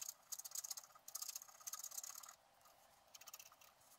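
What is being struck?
Black-coated scratch-art card scratched with a wooden stylus.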